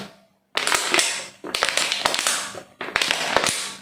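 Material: Plastic.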